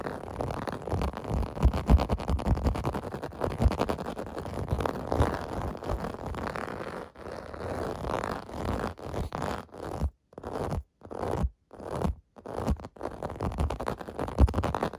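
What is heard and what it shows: Fingertips and nails scratch the surface of a clear blue plastic bath mat with bubble domes, making a dense, rapid, scratchy rustle that is mostly low and muffled with little brightness. The scratching runs almost continuously at first, then breaks into short bursts separated by brief silences before picking up again at the end.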